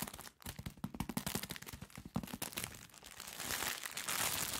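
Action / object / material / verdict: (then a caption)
scrape / soft package in thin plastic film / plastic film / none. A soft package sealed in thin plastic film is held in both hands and squeezed and rubbed with nails and fingertips. It gives a dense run of sharp crinkles and crackles, then turns into a steadier, brighter rustling hiss toward the end.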